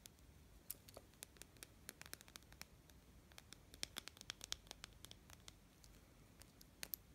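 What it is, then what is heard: Plastic watch strap. Fingernails scratch and tap along the light-blue patterned plastic or silicone strap of a small plastic wristwatch held in the hand. Quick, dry, bright clicks and scratchy ticks come in irregular bursts, each dying out almost instantly over a faint low background hiss.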